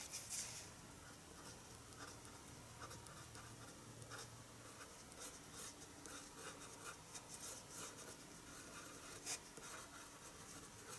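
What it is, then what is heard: Paper sheet. A hand draws with a colored pencil on a large white sheet of drawing paper lying flat on a wooden table. Soft, continuous scratching and rubbing strokes fill the clip, with bright, papery friction and a faint low hum underneath. The strokes are quiet and steady, with a few slightly louder scrapes.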